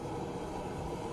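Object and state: Nothing is struck.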